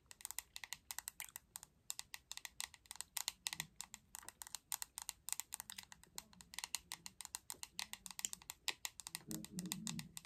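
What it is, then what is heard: Plastic hairbrush tapped with nails. Long acrylic nails tap rapidly on the glossy back of a hot pink hollow plastic paddle hairbrush, making dozens of quick, sharp, bright clicks that stop dead with no ring. The taps come in fast bursts at a soft level, and a low, muffled rustle rises beneath them near the end.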